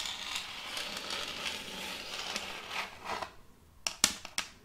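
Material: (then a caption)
Wood. Metal fingertip claws tap rapidly on a large, solid, round board of checkered end-grain wood held upright. A dense, bright, crackly patter of quick taps runs for about three seconds, then drops to a few separate, sharp, dry clicks with very little ring.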